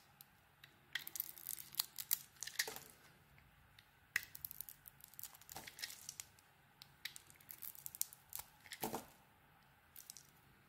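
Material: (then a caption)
Soap. A solid orange bar of soap with a dotted coating and a translucent core is held in the hand and carved with a utility knife blade. Crisp, bright scraping and shaving sounds come in dense clusters of short cuts, separated by brief quiet pauses. Each cut stops dry and fast, with almost no low end.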